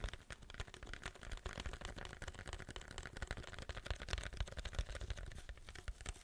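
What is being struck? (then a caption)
Paper drink cup with plastic lid. A large, hollow white paper drink cup with a plastic lid and straw is held in both hands and tapped and scratched with fingernails. The result is a quiet, dense stream of quick taps and scratches: low, hollow thumps under crisp, bright, papery clicks and scraping, each dying away almost at once.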